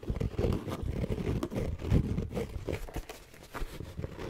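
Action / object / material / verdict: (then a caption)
tap / fabric-covered EVA hard-shell zipper case / EVA foam / none. Long painted nails scratch and tap on a closed, hollow, black fabric-covered hard-shell EVA zipper case. The result is a quick run of dull, low, muffled taps mixed with soft scratchy rustling. Each tap dies away almost at once.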